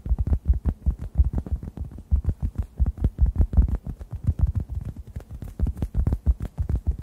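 A hand-sized, solid, yellow-orange synthetic foam sponge is tapped and squeezed with fingertips above the microphones. It gives a rapid, steady run of soft, deep, muffled thumps centered around 62 Hz. Each thump dies away almost at once, with no bright or high content.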